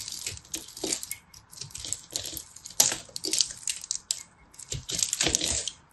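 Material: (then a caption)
Soap. A small knife blade shaves and scrapes a solid blue-purple pressed soap-flake ball held in a hand with red nails. Bright, crisp scraping and crumbling strokes come in short, uneven bursts with quiet gaps between them. Almost no low end.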